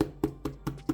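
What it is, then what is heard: Fake leather handbag (polyurethane). Five quick taps on the body of a fake vintage-style Dooney & Bourke handbag give short, dull, hollow knocks with almost no ring and no bright edge. The taps sound like plastic, marking the bag as polyurethane faux leather rather than real leather, a verdict backed by its fabric lining and a squishy, not supple, feel.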